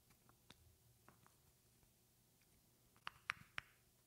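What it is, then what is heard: Glass perfume bottle. A medium rectangular glass perfume bottle with a flower print and silver cap, partly filled and held in one hand, is tapped with long painted fingernails. Faint, soft ticks come first, followed by three sharper, louder taps near the end. Each is a crisp, bright glassy click that dies away almost instantly over a quiet background.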